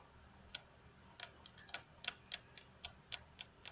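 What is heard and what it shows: Long fingernails of both hands tap on the flat, solid glass tabletop of a computer desk. About twelve sharp, bright clicks come in an irregular, unhurried rhythm, each dying away almost instantly over a quiet background.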